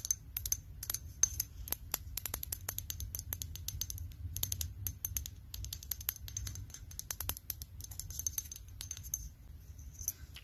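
Long lilac-painted nails tap rapidly on a small amber glass aromatherapy pillow-mist bottle with a paper label and black pump cap, held in hand. Quick, bright, clicking taps come in dense, uneven bursts with very short ring, over a low, steady rumble.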